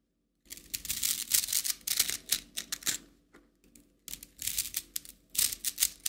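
A hollow, coiled plastic spring toy in rainbow colors is stretched and collapsed by hand, so its coils click together. Dense bursts of bright, crisp plastic clicking and clattering are heard, with a brief quieter lull midway before the rapid clicking resumes.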